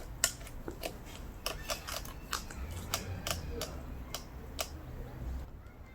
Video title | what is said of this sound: Is this the BEST Electric Scooter in 2020? Apollo Light Scooter In-Depth Review | When I shake it, there's no sound of rattling really.